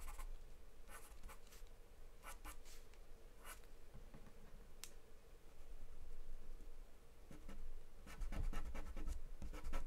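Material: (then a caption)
Paper. A wooden charcoal pencil scribbles on a flat white sheet of drawing paper taped to a dark surface as a hand shades in eyes and hair. Quiet, irregular bursts of scratchy strokes come and go over a low, steady hum, growing slightly louder toward the end.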